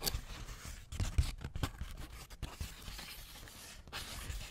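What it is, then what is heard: Paper sheet. A crinkled sheet of thin white paper, held up by both hands near the microphone, is rubbed and crumpled with the fingertips. It makes soft, continuous crackling and rustling with a few sharper crinkles, fairly quiet overall and heavy in low rumble under a faint bright hiss.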